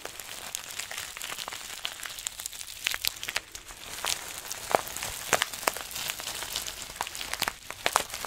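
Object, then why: Plastic zip bag filled with small beads. A small clear plastic zip bag full of green granules is held in both hands while fingertips squeeze, crinkle and rub it. The result is a quiet, steady stream of bright, crisp crinkles and sharp little ticks of shifting beads, with almost no low end.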